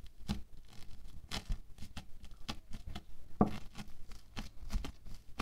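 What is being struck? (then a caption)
Bead foam clay patch poked with a wooden stick. A wooden stick jabs and pokes again and again into a flattened, hand-sized, solid patch of orange bead foam clay. Each poke makes a short, crackly, crinkling pop with a low, soft body, repeating steadily throughout.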